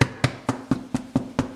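Seven knocks on an Irish raisin soda bread loaf just out of the oven, after about another 12 minutes baked face side down, give short, dull, low thuds with almost no ring. The hollow sound shows the loaf is cooked through.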